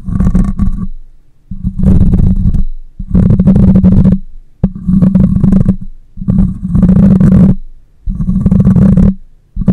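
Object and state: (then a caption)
Metal mesh microphone grille being scratched. Fingertips and long nails scratch and partly cup the hollow metal mesh grille of a black condenser microphone. Seven loud bursts of low, rumbling, hollow scraping follow one another, each about a second long, separated by brief quiet gaps. The sound is heavy in the low end with a steady hum-like tone near 200 Hz.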